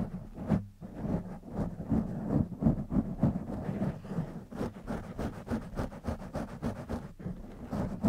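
Fingertips and short nails of both hands continuously scratch and rub a soft, porous black foam windscreen fitted over a silver studio condenser microphone. The result is a dense, muffled, low rumbling of scratchy strokes, coming in rapid, irregular bursts with short, dull attacks and almost no bright content.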